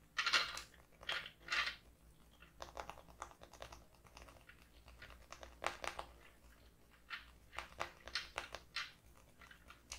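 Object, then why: Laminated cardboard notebook cover. A closed, medium-size, floral-printed hardcover notebook with a laminated cardboard cover and a solid stack of paper lies on a wooden table. Long pink-painted nails of both hands tap and scratch the laminated cover. The result is quiet, irregular bursts of bright, crisp clicks and scratchy rasps with very short decay.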